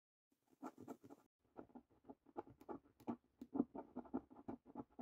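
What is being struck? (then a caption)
Paper scratch card with latex coating. A coin scratches the latex coating off a fresh, thin, flat paper £15 "3x £1 Million Snack Stack" National Lottery scratch card. Quick, quiet, papery scraping strokes come in short bursts with brief pauses between them. The sound is dry, mid-range and soft, with no ring after each stroke.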